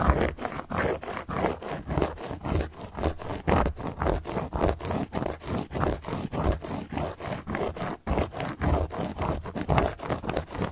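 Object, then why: Solid cork board. A carving tool scratches across a large, round, solid cork board in rapid, uneven strokes, about forty in total. Each stroke is a short, dry, rasping scrape with a dull low body and almost no ring.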